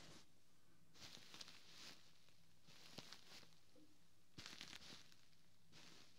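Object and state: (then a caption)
Quilted fabric pillow. Fingertips and short nails of one hand scratch and tap the ribbed, quilted fabric cover of a large, soft white pillow, away from the mic. Quiet bursts of bright, papery scratching come in short passes, with a few sharper taps. A steady low hum sits underneath throughout.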